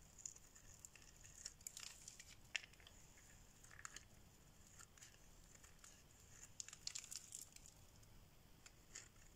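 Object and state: Dry bar soap being carved.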